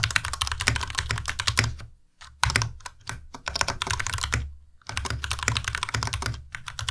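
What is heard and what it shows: Two hands type steadily with their fingertips on a white Ducky Miya Pro tenkeyless mechanical keyboard with plastic keycaps and linear switches. A dense run of sharp, bright clacks sits over a low thock, with brief pauses near two seconds and just before five seconds. The keystrokes die away almost instantly with no ring.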